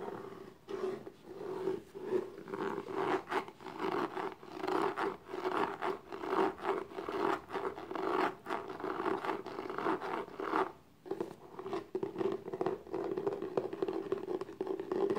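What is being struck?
Small textured cardboard box.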